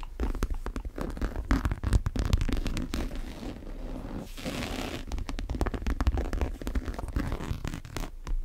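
Long nails tap and scratch the side and the strap buckle of a large brown monogram coated-canvas tote bag. Quick, dry clicks and taps ride over a steady, muffled scratching with a strong low rumble, with a brief brighter, airy scraping stretch in the middle.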